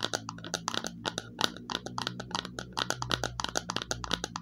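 Long fingernails tap rapidly and lightly on the underside of a small, hollow, glossy red plastic bowl. Each tap is a bright, dry click that stops almost at once, over a faint steady low hum.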